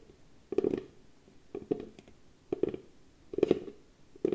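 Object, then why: Small round wooden box. A small, round, hollow box of light-coloured wood is held in both hands while long nails tap and scratch its flat lid. Short bursts of dry, clicky taps mixed with brief scratching arrive in loose clusters with quiet gaps between them. Each tap carries a hollow, low-mid knock that dies away almost instantly.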